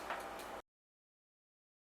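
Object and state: Nothing is struck.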